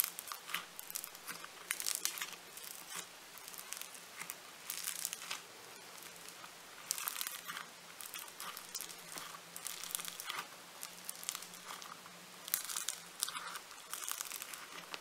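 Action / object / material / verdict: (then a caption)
scrape / foam-bead modelling clay / foam beads / none. A lump of blue floam foam-bead clay is stretched, folded and squeezed by both hands, its beads crackling. Bursts of bright, dry crinkling and popping come in close waves over about fifteen seconds, above a faint, steady low hum.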